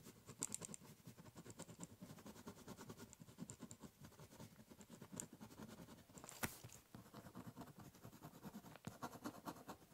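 A ballpoint pen draws lines along the top surface of a large, hollow, brown corrugated cardboard box. The result is a quiet, steady run of dense, rhythmic scratching strokes with a soft, hollow low body. Occasional brighter, sharper scrapes stand out.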